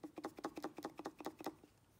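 A brand-new counterfeit Bosch 044 electric fuel pump is shaken by hand, its loose internal parts rattling in a quick series of about eight short, dry clicks that fade out near the end. The rattling internals point to a faulty knock-off pump, already identified as fake by its poor machining and mismatched ejector pin marks.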